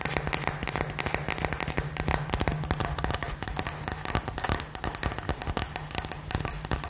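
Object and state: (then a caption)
Glass light-up ball tapped with fingernails. A hollow, light-up LED glass ball about 15 cm across, filled with gold glitter, is held in both hands and tapped rapidly with fingernails. The taps form a quick, continuous stream of short, dry clicks with a bright, high glassy sheen, each one dying away almost instantly, over a faint steady low hum.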